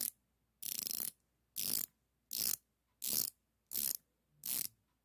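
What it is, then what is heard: Steel ratcheting wrench clicking. A chrome-plated, solid steel ratcheting combination wrench with a flex head, about 20 cm long, is held in both hands while its ratchet head is worked back and forth, with other wrenches lying unused on a cloth. The pawl produces quick, dry, bright clicking in short bursts: six full runs after one trailing off at the start, separated by silence. The clicks are thin and high with almost no low end and stop instantly.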